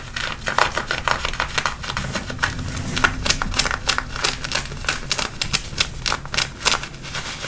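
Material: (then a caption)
Denim. Fingertips and nails scratch the waistband and front of a pair of light-blue button-fly denim jeans being worn. Quick, dry, crisp rasps and scratches come in a dense, irregular run of short bursts with bright high-frequency fabric texture. Each stroke stops almost at once with no ring.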